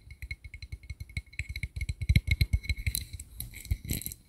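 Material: Metal.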